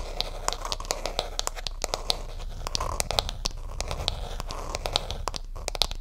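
Long nails tap and scratch the back and camera area of a smartphone in a flat, solid, white and pink patterned hard plastic case held in both hands. Rapid, irregular clicky taps with a bright ring sound over a faint low rumble and scratchy rustle, each tap dying away almost at once.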